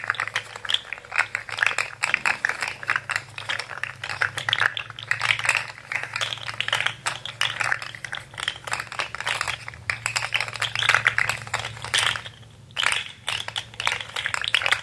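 Hands squeeze, curl and straighten a rainbow plastic jointed fidget slug toy with hollow segments, producing dense bursts of quick, bright clicking and clattering. The clicks come in rapid, uneven clusters over a faint steady low hum, with a brief lull near the end before the clicking resumes.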